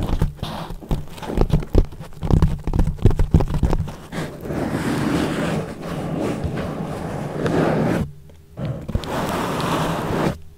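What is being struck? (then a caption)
Foam microphone cover. Fingertips of both hands rub and scratch a thick, soft yellow foam sheet wrapped loosely over a microphone, leaving a hollow space around it. The first few seconds are dense, muffled, low-heavy thumps and scratches. These give way to a steady, close rustling rub that briefly drops to near silence before resuming.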